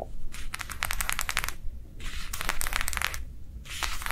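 Long nails quickly tap and scratch a thin, small, rectangular matte translucent plastic sheet lying flat on a soft table cover. Three bursts of bright, crisp crackling taps and scrapes are separated by short pauses over a low, steady rumble.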